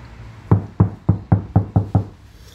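A Honda New BR-V body panel covered with a butyl rubber sound-deadening sheet is knocked seven times, each knock a dull, low thud centered near 100 Hz that dies away quickly with almost no ring. The panel is being compared against a nearby asphalt-damped section, which sounds harder than the butyl-treated area.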